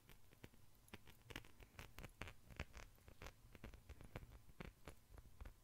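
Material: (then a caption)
Metal. An ornate silver-tone metal chain necklace dangles from the fingers and is handled with the fingertips and shaken, its links jingling. The sound is a steady stream of quick, soft metallic clicks and taps with bright, short transients that die away almost instantly, over a low, muffled rumble.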